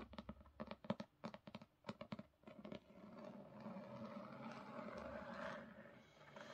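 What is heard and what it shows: Long pink nails on both hands tap and scratch the top edge and cover of a solid black hardcover copy of Crooked Kingdom with a gold-foil design, resting on a carpet. Quick, sharp taps come first, then give way to a steady, continuous scratching across the cover.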